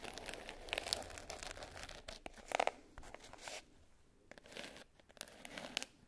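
Long nails scratch and tap the top and edge of a small black glitter-covered hard case with a clasp, lying closed and flat. The result is a dry, bright, gritty scratching like crinkling or tearing, broken by sharp, quickly fading taps with quiet gaps between bursts.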